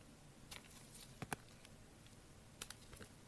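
A solid blue soap bar, held in gloved hands, is carved with a metal blade. Quiet, sharp scraping clicks and crisp cutting ticks sound against a low background hush, with the strongest pair of cuts in the middle and another close pair near the end.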